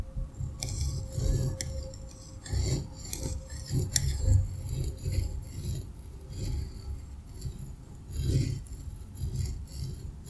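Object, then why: Kinetic sand block cut by a metal cutter wheel. A metal pizza cutter wheel slices through a solid, dense green kinetic sand block resting on a white surface. The sand gives off soft, grainy crunching and scraping in repeated swelling passes, mostly a low muffled rumble with a faint bright hiss on top.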